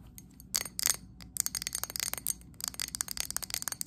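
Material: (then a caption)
Glass. Long acrylic nails tap quickly on the sides and base of a medium glass candle jar filled with green wax. The result is a run of sharp, bright, glassy clicks that stop almost at once, coming in irregular bursts with a few short pauses between them.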